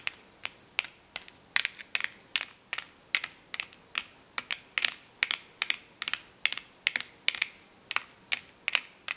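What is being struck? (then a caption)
Clear plastic blister pack with plastic letters. Long painted nails tap and scratch across the bubbles of a flat, notebook-sized, card-backed clear plastic blister pack holding hollow colored plastic magnetic letters. About thirty crisp, bright plastic clicks come in a steady, uneven rhythm, centered near 3 kHz. Each click is dry and dies away at once, with faint scratchy hiss between them and no low end.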